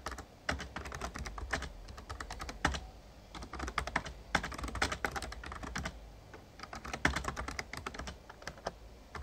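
Rapid fingertip typing with both hands on an RGB-backlit plastic Razer Ornata Chroma membrane gaming keyboard with a hollow casing. Dense bursts of short, clacky key taps come in uneven clusters, each dying away almost at once. A steady low hum sits beneath the typing.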